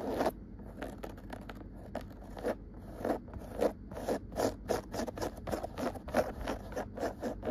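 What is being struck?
Woven cotton rug.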